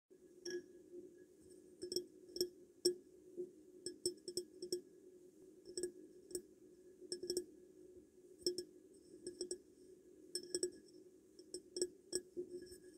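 A glass perfume bottle is tapped in an irregular series of light, quick taps, some clustered close together. Each tap gives a short glassy clink with a steady tone around 360 Hz and bright, high overtones that die away almost at once.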